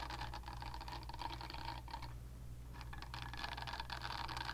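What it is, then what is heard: Silicone facial cleansing brush. Long nails scratch and tap the smooth surface of a pink silicone facial cleansing brush pad, making a dense, bright, crackly rustle over a steady low hum. The scratching briefly thins out in the middle, then returns at a similar quiet level to the end.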